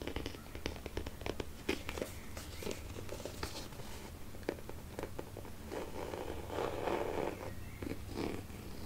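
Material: Faux leather.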